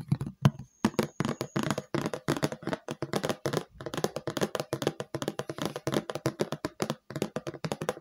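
Long light-purple painted nails tap and scratch across the flat surface of a round, hand-sized red plastic food container lid, thin and hollow, held up in the air. A rapid, steady stream of short, dry clicks follows, each dying out almost at once, with a low hollow body under brighter scratchy edges and a few brief pauses.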